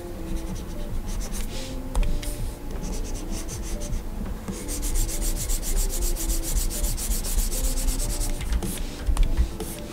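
A plastic stylus nib rubs over the solid flat glass screen of a Gaomon PD2200 21.5-inch pen display in colouring strokes. The result is a continuous, dry scratching and rubbing, with rhythmic bright swishes as the strokes speed up, over a steady low rumble.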